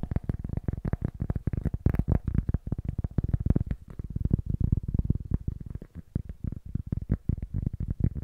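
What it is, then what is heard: Cork block. Fingertips and short nails rapidly tap the face of a small, solid-looking rectangular cork block held upright in both hands in front of a stereo microphone. The taps are dense, dull, low thuds with almost no bright edge, each dying away almost instantly in a quick, uneven patter.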